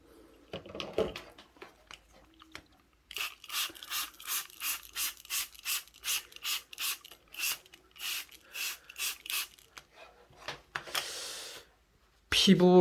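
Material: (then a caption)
Stone. A viewing stone (suseok) from the Pyeongchang River is tapped in a long, steady run of more than a dozen sharp, bright taps that stop almost at once with no lingering ring. A few softer knocks come before the run, and a short hiss and a loud burst of noise follow at the end.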